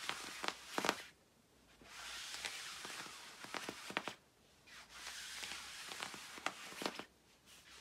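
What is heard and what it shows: Fingertips and long nails scratch the lower part of a shiny black quilted nylon puffer jacket. The result is bursts of bright, hissing scratching, broken up by sharp ticks and brief quiet pauses.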